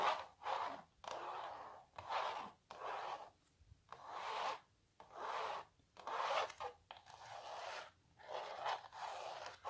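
Long nails scratch across a small printed canvas stretched on a wooden frame, making repeated dry, raspy strokes. Each stroke is a papery, mid-pitched scrape with a faint bright edge, separated by brief pauses of near silence.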